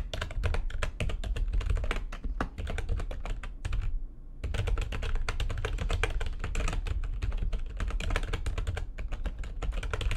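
Fingertips with long nails type fast on the keys of a full-size, low-profile, backlit plastic computer keyboard resting on a desk. The result is a dense stream of crisp, bright clicks and taps over a steady low rumble, with a brief pause near the middle before the typing resumes.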